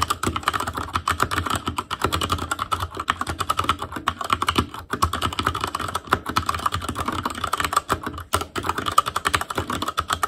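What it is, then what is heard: Mechanical keyboard with plastic keycaps. Fingertips of both hands type continuously on an ASUS ROG Claymore Core mechanical keyboard with Cherry MX Red switches and black plastic keycaps on a metal frame, with a hollow, RGB-backlit housing. A steady, fast stream of short, dry clacks with a tonal ring around 1.2 kHz and a low thump beneath each keystroke. Each tap dies away almost instantly, keeping the rhythm crisp and dense throughout.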